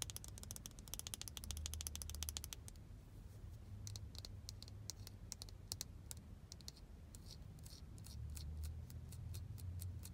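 Long blue nails tap and scratch the lid and body of a small, hollow, glossy white plastic AirPods case held on a knee. A rapid burst of sharp, bright clicks gives way to sparser taps and scrapes. A steady low rumble runs underneath throughout.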